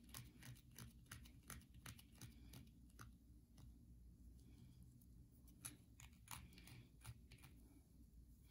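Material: Soap.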